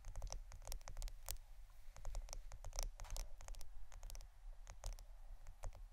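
A roll of plastic adhesive tape is tapped and scratched. The sound is a quiet, rapid patter of short, dry clicks with bright tops, sitting over a steady low rumble.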